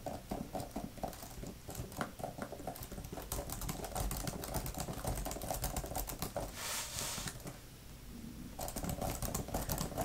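Long-nailed fingertips type quickly on a grey, thin plastic laptop type-cover keyboard with flat plastic keys. The result is rapid, irregular, dry clicking and tapping with short, sharp transients. A brief softer lull comes near the eighth second before the fast typing resumes.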